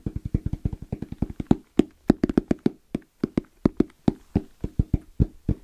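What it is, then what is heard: EVA hard-shell zipper case. Fingertips tap fast and rhythmically on the lid of a small, closed, hollow EVA hard-shell zipper case, black with orange trim and a fabric-covered shell. About 34 short, dull, hollow knocks land in an uneven rhythm, centered in the low-mid range with a muted thump. Each stops almost instantly, with only faint bright clicks on some stronger taps.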